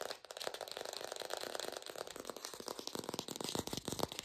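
An artificial plastic green apple is fast-tapped, recorded lo-fi without a microphone. The result is a rapid stream of short, dry, hollow clicks with a slight rattle and crinkly high edge, their tone centered around 450 Hz with little low end.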